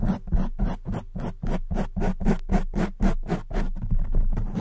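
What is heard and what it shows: Long white nails and fingers scratch and rub a black foam windscreen on a silver microphone. The result is a rapid run of rough, muffled scratching strokes, close to four per second, heavy in low rumble with bright hiss on each stroke.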